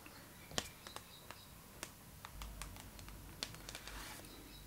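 Long pink acrylic nail tips tap and scratch across the glossy paper cover of a Vogue magazine lying flat. Quiet, sharp, bright clicks come at irregular intervals with almost no ring, and soft, hissy scratching strokes fill the gaps between them.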